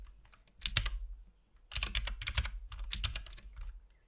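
A compact RGB-backlit mechanical keyboard with plastic keycaps and a hollow case is typed on continuously with the fingertips of both hands. Three bursts of quick, overlapping key presses are heard, with a low, hollow thump under 200 Hz beneath bright clicks. The keystrokes are sharp and die away almost instantly, with brief quiet gaps between the bursts.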